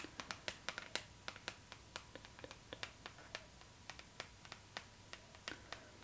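Long nails tap and scratch the cover of a glossy paper magazine lying flat, giving about 27 quick, crisp, bright clicks with almost no ring. Faint scratchy rustles fill the gaps between taps, over a quiet background with a faint steady tone.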